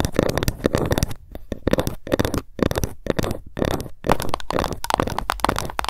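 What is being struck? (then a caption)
Bamboo ruler. A long, flat, solid bamboo ruler lies on a mat in front of the mic while long nails tap it fast and scratch along its surface. The result is a dense stream of dry, quick clicks and rustly scrapes with a woody low-mid body and almost no ring, broken by a few brief pauses.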